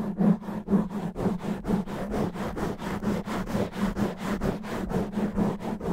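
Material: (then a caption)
Foam. Both hands scratch the sides of a black foam microphone windscreen with their nails, fast and rough. The result is a rapid, steady run of muffled, scratchy rustling bursts, with most of the energy low and mid-range and a faint low hum underneath.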